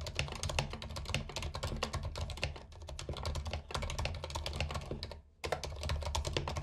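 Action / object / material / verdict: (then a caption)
tap / plastic mechanical keyboard / plastic / none. Fingertips of both hands type steadily on a compact white mechanical keyboard with plastic keycaps and RGB backlight, resting on a carpet. A dense run of sharp, bright clacks sits over a low, rumbling undertone, with a brief pause near the five-second mark before the typing resumes.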